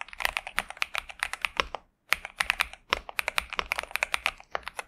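Both hands type continuously with their fingertips on a pink and purple 65% Xinmeng M71 mechanical keyboard with TTC Superman switches and plastic keycaps, resting on a desk mat. The keystrokes are crisp, bright clacks with almost no low end and no lingering ring, coming in a rapid, uneven stream. There is a brief pause just before the two-second mark.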